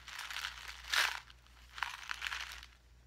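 A small clear plastic blister pack with a card backing, full of pink gems, is held up and crinkled and pressed with the fingertips. Bright, dry crinkles and crunches come in bursts, with the loudest crush near the one-second mark and another cluster of crackles in the second half, each dying away quickly.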